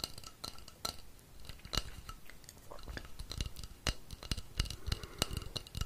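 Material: Wood.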